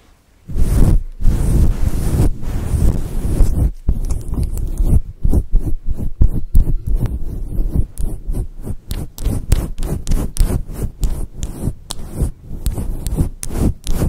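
Long acrylic nails scratch and rub a fluffy grey and white synthetic faux fur windscreen over a microphone. The result is a deep, muffled rumbling and thumping, nearly all low in pitch, with a rapid run of soft strokes that starts after a brief silence and continues throughout.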